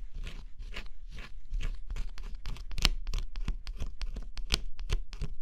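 A thin scraper stylus, pressed under a fingertip, scratches across a flat cardboard jigsaw puzzle with a black scratch-off coating. It makes a run of short, dry, scratchy strokes with a crisp high hiss over a soft low rumble. The strokes are slower and smeared at first, then quicker and sharper toward the end.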